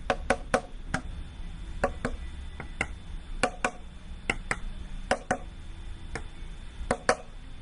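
A hanging homemade xylophone made of several empty, hollow cardboard paper-towel and toilet-paper tubes tied together with rubber bands and yarn is tapped with a hand-held plastic marker. Seventeen short, hollow, woody knocks sound at an uneven pace, often in quick pairs, each with a dull mid-pitched tone that dies away almost at once.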